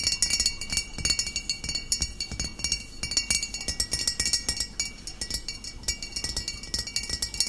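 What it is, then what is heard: Glass bottle tapped with fingernails. Long nails tap rapidly on the shoulder and body of a full, upright glass bottle of cider vinegar. The result is a dense stream of bright, high-pitched clinks that ring briefly.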